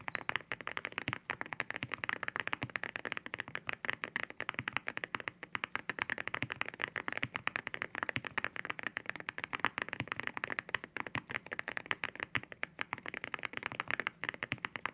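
Fingertips type steadily on a white mechanical keyboard fitted with ceramic keycaps. The result is a rapid, continuous stream of short, crisp clacks with a bright, glassy click centered in the upper mids, little low end and no ring after each press.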